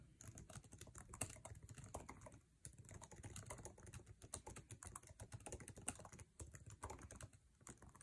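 Fingertips of both hands type fast on the backlit low-profile scissor-switch keyboard of an aluminum MacBook Air resting on a table, tapping the plastic keycaps. The result is a dense, continuous stream of quick, short clicks and taps with a soft low thud under each keystroke and a bright click on top, with a few louder strikes standing out.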